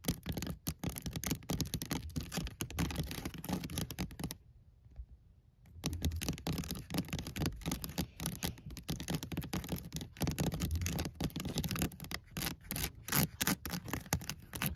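Fingernails tap and scratch fast on the side of a hollow, white painted woven wicker basket, making dense crackly clicks over a low hollow body. The rapid bursts stop briefly near the middle, then resume just as fast until the end.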